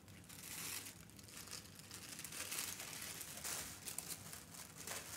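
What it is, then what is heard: Tissue paper being folded and crinkled. A thin tan tissue-paper sewing pattern sheet rests on a fabric ironing board while hands fold it into a small rectangle and rub the folds flat with their fingertips. The result is a steady, quiet, bright crinkling and crackling that swells and fades with each fold, with very little low end.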